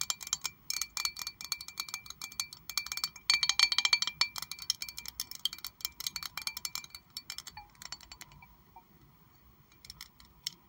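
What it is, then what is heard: Glass perfume bottle. Long acrylic nails tap rapidly on a rectangular glass perfume bottle with pink liquid inside and a metal cap. The clicks are bright and high-pitched, with almost no low end. The taps come in irregular bursts that are densest and loudest around the middle, then thin out and soften toward the end.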